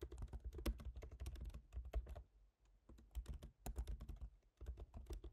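Both hands tap rapidly with fingertips on a MacBook Pro keyboard, black plastic keycaps set in a silver aluminum body. The quiet, soft, thumpy clicks come in quick bursts, with short pauses around the middle and near the end.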